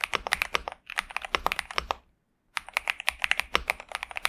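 A pink and purple Xinmeng M71 65% mechanical keyboard with TTC Superman switches and plastic keycaps, resting on a desk mat, is typed on continuously with the fingertips of both hands. It gives a quick run of crisp, bright, short clacks centered around 1.2 kHz, with a half-second silent pause near the middle before the typing resumes.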